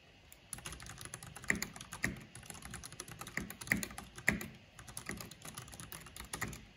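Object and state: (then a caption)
Plastic mechanical keyboard being typed on. Fingertips and long nails type on a black plastic mechanical keyboard with a purple backlight, tapping the keys. After a brief quiet start, a fast, uneven stream of bright plastic clicks and clacks follows, with a few louder, sharper key strikes standing out.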